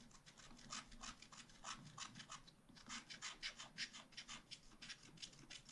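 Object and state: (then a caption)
Wax-coated scratch art paper. A wooden stylus scratches the scoops at the top of a page of wax-coated scratch art paper, a thin coated card from a scratch art pad lying on a table. Quick, uneven, dry scratching strokes repeat throughout, bright and raspy with little low end. Each stroke stops short with no ring.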